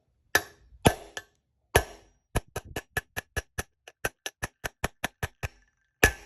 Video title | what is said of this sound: Toyota/Lexus Solid Front Axle Wheel Bearing/Race Replacement & Front Disk Brake Job (FJ80 & LX450) | I heard the change in pitch right there. That sounds solid.